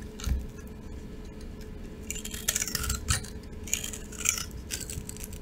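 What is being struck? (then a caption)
Soap bar scraped with a metal blade. A metal utility knife blade scrapes and shaves the top of a dry, rectangular, solid cream-coloured soap bar topped with pink, red and green glitter, held in the palm. Repeated dry, bright scraping strokes sound out over a quiet low rumble, each a short gritty hiss with faint crackles. Flakes of soap fall away.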